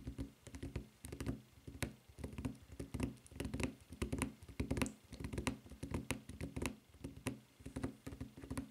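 Long nails tap rapidly on the footbed of a white rubber flip-flop with a red textured rubber strap, producing quiet, dull, muffled taps in irregular bursts. Each tap has a soft low thud with a short bright click on top and dies away almost instantly.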